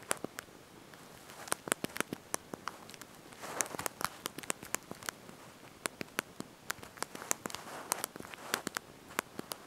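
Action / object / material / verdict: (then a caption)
tap / plastic keys of a slide-out phone keyboard / plastic / none. Thumbs and fingertips press and tap the small backlit plastic keys of a handheld slide-out QWERTY mobile phone keyboard while typing a message. About forty quiet, sharp, dry clicks come in an irregular patter with no ring, bright and light on low end, over a faint soft rustle.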